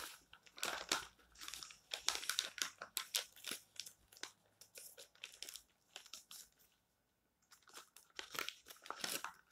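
The thin, coated pages of an open glossy colour magazine lying flat on a table are gripped and turned by fingertips and rubbed with flat palms. This makes a bright, crisp crinkling rustle in quick bursts, with a brief silence near the end before the rustling resumes.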